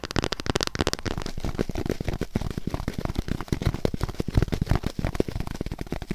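A thin, hand-width white polyethylene foam sheet held flat in front of the mic is scratched and tapped with long nails. The result is a rapid, dense run of short, dry taps and scratchy crackles, heavy in low thump with very little high-end ring.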